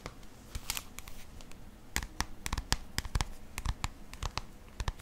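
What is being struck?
Paperback book cover.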